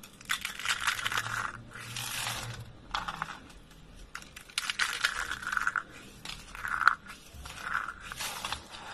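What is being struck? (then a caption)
Rolled soap curls. Both hands crush rolled lilac soap curls, hollow spirals of thin brittle dry soap, into flakes with the fingers. Bursts of dry, crackly crunching come in uneven waves, bright and crisp with quick snaps and little low end.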